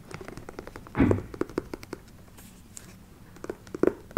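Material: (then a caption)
Patent leather. Long nails tap and scratch the glossy surface of an empty black shiny patent leather ankle boot with a side zipper, held in the hands. The result is a rapid series of short, dry taps, broken by a louder, longer rustling burst near the start and a few sharper taps at the end.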